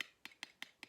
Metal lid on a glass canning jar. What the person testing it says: it's still sealed and when you tap on it it kind of makes a different sound than something that's more hollow